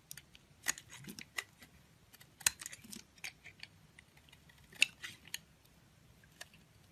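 A box-cutter blade scrapes and carves thin curls off a solid pink bar of soap held in a palm with long painted nails. Short, crisp, bright scraping strokes come at irregular intervals, each dying away almost instantly in a quiet space.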